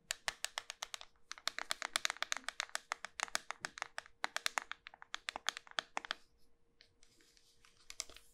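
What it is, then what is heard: Round bar of soap. A small, solid round bar of pink soap with a rim of plastic pearl beads is held in one hand and tapped and scratched on its flat top with long white nails, while other soaps sit on the table untouched. Quick, sharp, bright clicks come in dense bursts with no ring, under a faint steady hum. Near the end they thin into soft scratching before a few last taps.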